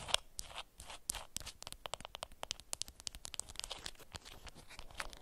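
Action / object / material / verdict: scrape / beeswax-coated cotton wrap / waxed cotton / none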